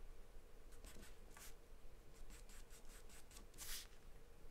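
A graphite or charcoal pencil held in the hand scribbles and scratches across a large white paper sheet taped flat to a dark surface, shading in quick strokes. The quiet, dry, bright scratches come in short bursts over a faint low hum, with the last stroke the loudest.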